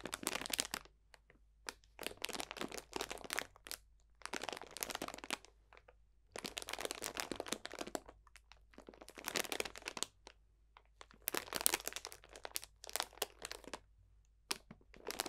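Fingertips crunch a clear cellophane plastic bag full of dried potpourri botanicals. Dry, bright crinkling and crackling arrive in several separate bursts with short silent pauses between them, with almost no low end.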